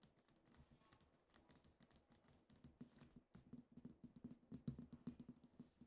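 A small pink-tinted glass perfume bottle with a heart print, partly filled, is rapidly tapped on its sides with long acrylic nails. The taps are quiet, fast and irregular, with short clicks that pair a low knock with a bright tick and die away almost at once.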